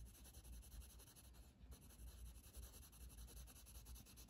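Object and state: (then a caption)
Coloured pencil shading on a paper page. A blue wooden colored pencil, held in the fingers, rubs back and forth in shading strokes across a flat paper coloring book page resting on a table. The result is a quiet, continuous scratchy rubbing with a bright papery hiss over a steady low rumble, swelling and fading slightly with each stroke.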